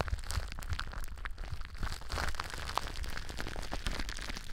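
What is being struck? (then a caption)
Plastic bubble wrap. Long blue nails scratch and crinkle clear plastic bubble wrap stretched over a cylindrical mic form. A dense, steady stream of crisp crackles and rustling comes through, with low, muffled bumps underneath and brief sharp snaps poking out above it.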